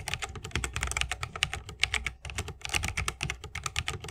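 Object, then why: Mechanical keyboard, plastic keycaps, wooden case. Fingertips of both hands type fast on a 60% mechanical keyboard with plastic keycaps on tactile Holy Panda switches, set in a solid bamboo wooden case with RGB lighting and resting on a wrist rest. A dense run of bright, crisp clacks with a low thocky undertone fills the clip, each stroke dying away almost instantly, with a brief lull just past the midpoint before the fast typing resumes.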